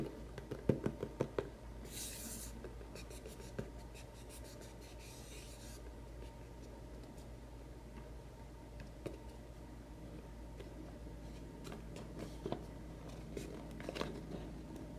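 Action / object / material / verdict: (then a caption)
scrape / small cardboard box / cardboard / none. Short nails and fingertips rapidly scratch and tap on a small, hollow white cardboard macaron box with its lid closed. A quick burst of sharp taps opens the clip, then a steady, soft, papery scratching runs underneath. Occasional isolated taps come through toward the end, over a constant low hum.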